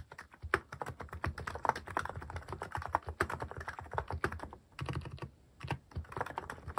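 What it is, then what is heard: Mechanical keyboard with plastic keycaps. Fingertips type on a mechanical keyboard fitted with plastic cat-shaped keycaps, including the paw keycaps. A rapid, steady run of short, dry clacks has a soft low thock under each stroke and almost no ring. Brief lulls near the five-second mark break the run before the typing picks up again.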